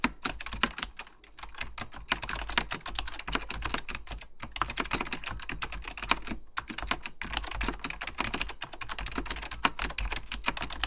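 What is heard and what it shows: Fingertips type continuously on a beige plastic, full-size Apple Extended Keyboard II, pressing hollow plastic keycaps over mechanical switches. The result is a dense stream of sharp, bright clicky taps that die away almost instantly, over a steady low hum. Brief pauses break the typing near 1, 4.3 and 7 seconds.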